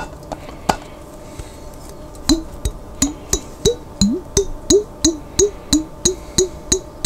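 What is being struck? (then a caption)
Glass jar containing water. A glass jar containing water is tapped in a steady run of quick strikes, each giving a short, resonant, wood-block-like knock with a bright, glassy ring on top. A few sparse taps come first, then a regular series follows at about three per second, the low tone of each tap bending slightly upward in pitch.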